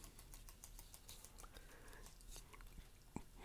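A small, closed, paper-covered cardboard Welcome Inn matchbook is held in both hands over a wooden table while fingertips and nails rub and scratch its cover and edges. The result is a quiet, steady stream of soft scratching and light, bright ticks, ending with a slightly sharper tap near the end.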